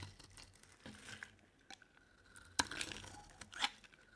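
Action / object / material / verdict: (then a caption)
scrape / bar of soap cut with a metal blade / soap / none. A metal utility knife blade scrapes and carves a solid, dry purple bar of soap held in the hand, sending flakes falling. The cuts make quiet, crisp, bright scratching and crinkling sounds at an irregular pace, with a couple of sharper, louder scrapes near the end.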